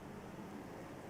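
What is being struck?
Nothing is struck.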